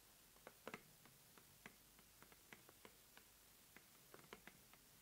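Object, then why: Corrugated cardboard mailer box. A closed, medium-size red corrugated cardboard subscription mailer box, hollow and filled, is tapped and scratched by long nails along its sides and the top edge of the lid. Soft, dry, short clicks and taps with bright edges come scattered and irregular against a faint, quiet background.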